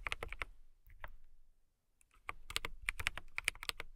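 Fingertips and long nails type on a transparent acrylic mechanical keyboard with clear keycaps. Crisp, bright clacks come in a quick burst, then a brief quiet gap, then a denser run of keystrokes. Each click is short and dry with almost no ring.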